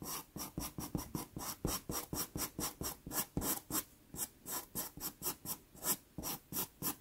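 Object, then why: Pastel pencil on textured pastel paper card. A dark brown pastel pencil makes quick hatching strokes on a small taped sienna Pastelmat card. About 25 short, separate raspy scratches sound in a steady rhythm, each with a bright, hissy top and a soft low scrape, then stopping almost instantly.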